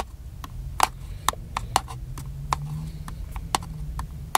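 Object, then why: Plastic handheld camcorder body. Fingertips tap the top of a small, hollow black plastic handheld camcorder held in one hand. The result is a series of short, dry, hollow clicks with a mid-pitched knock around 870 Hz and a bright edge, each dying away almost instantly over a faint low hum.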